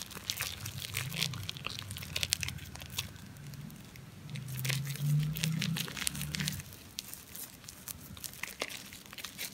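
A solid, hand-sized ball of compacted soap flakes covered in lather is kneaded and rubbed with the palms and fingers of both hands. Dense, bright crackling and crinkling pops run throughout over a soft low rumble that swells louder in the middle of the clip before settling back down.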